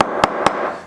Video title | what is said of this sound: Klesh Guitars Makamong Burl Epoxy Project | it's solid as a rock